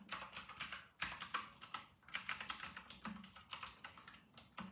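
Fingertips of both hands type steadily on a white and grey RK960 plastic mechanical keyboard with round plastic typewriter-style keycaps. The result is a quick run of sharp, bright clicks with little low end, each dying away almost at once.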